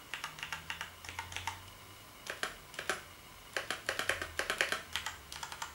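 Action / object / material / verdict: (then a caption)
tap / plastic computer keyboard / plastic / none. Fingertips type on the keys of a black plastic gaming keyboard, producing quick bursts of sharp, bright plastic clicks with a clacking tone around 1.8 kHz. The clicks come in short runs separated by brief quiet pauses, over a faint low hum.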